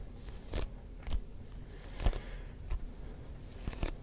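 Fingertips tap a hollow, neon yellow-green rubber ball with a textured surface, making soft sticky taps spaced irregularly. Each tap is a dull, low thump with a brief crackly, bright edge that dies away almost at once. The taps are quiet against a faint background hiss.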